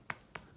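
Two sharp knocks on a room wall to check its soundproofing, each a brief, dull tap that dies away almost at once. The muffled thud indicates a solid, soundproof wall.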